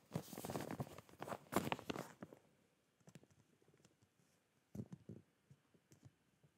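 A clear plastic zip bag full of folded cotton boxer shorts is held and tilted while fingertips and nails tap and rub its plastic face. The first two seconds bring dense, crinkly rustling, then the sound thins to sparse soft pats and light clicks.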